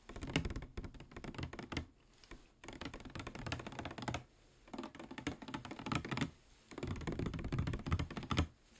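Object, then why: Plastic water bottle with water inside. A medium-sized clear PET plastic water bottle with a white cap, hollow with water inside, is held in the hand and tapped with fingernails. Rapid, dense bursts of light clicking taps with a soft low thump run in four flurries separated by brief pauses, each tap dying away almost instantly.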